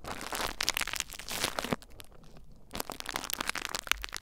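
Fingertips and nails lightly scratch and crinkle the surface of clear plastic bubble wrap mounded over a recorder. Dense, bright crackling and crinkling runs throughout, easing into a quieter stretch midway before the sharp scratching picks back up.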